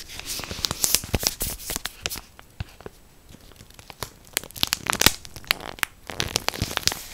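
A full orange Morato plastic bread bag, held close to the ear, is scratched and crinkled with long black nails. Bursts of sharp, bright crinkling and crackling come in quick clusters, ease off into quieter scratching in the middle, then pick up again toward the end.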